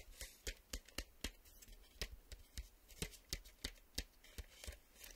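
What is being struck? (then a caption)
Printed cardboard VHS tape sleeve. Fingertips tap rapidly and nails scratch on the flat back of a printed cardboard VHS tape sleeve held on a table. Short, dry, sharp taps with bright clicky tops and a dull low thump come in an uneven quick series over a soft, continuous scratchy rustle. Each tap dies away almost instantly.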